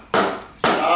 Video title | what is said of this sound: STONE PATIO INSTALLATION (Part 7) point up (Mike Haduck) | go around and tap it. That's solid, solid, solid, solid.